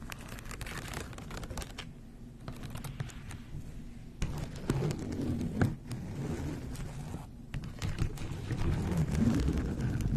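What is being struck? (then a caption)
Folding fan with plastic ribs and a fabric leaf. Long blue-painted nails scratch and tap along the white plastic ribs of a handheld rainbow folding fan with a fabric or paper leaf, held open. The result is a quick, irregular stream of dry scratching and crinkly taps with short, clipped attacks and a low, muffled body. It grows slightly louder and denser toward the end.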